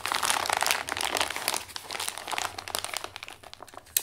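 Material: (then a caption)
Kraft paper. Both hands fold, press and crinkle a partly crumpled Amazon brown kraft paper padded mailer with their fingertips. Dense, bright crackling and crinkling comes in irregular bursts, loudest early and easing off toward the end before one sharp crackle near the close.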